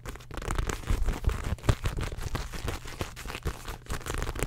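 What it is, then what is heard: Faux leather handbag. Long acrylic nails rapidly scratch and tap the surface and gathered handle of a beige ruched faux leather handbag held close to the mic, the soft, hollow bag giving off dull, low thuds. Quick, crackly scrapes and crinkles run through the clip with short, dry taps and no ringing.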